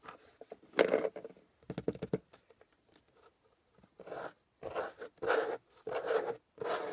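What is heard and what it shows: Fingernails scratch the top surface of a closed corrugated cardboard box resting on a table. Short, irregular scratchy scrapes in the first half give way to longer, steadier strokes with a dry, papery rasp centered in the midrange. Each stroke stops dead with no ring.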